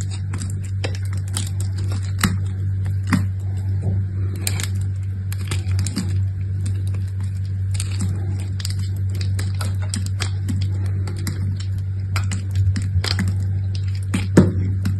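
A small knife with an orange handle cuts and scrapes a small solid purple bar of soap, held in the fingers of one hand with long manicured nails, carving it down to a small cube as shavings fall onto a pile of soap debris. Many quick, crisp scraping and cutting ticks sound over a steady low hum, with a few sharper snaps standing out.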